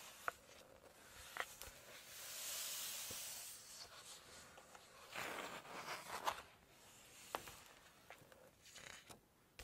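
Fingertips and long nails rub and scratch across the glossy paper pages of a large open Chinese cookbook, then turn a page. Soft, airy, bright swishing swells rise and fade, dotted with sharp little ticks and crinkles from the nails on the slick paper. The whole clip stays quiet.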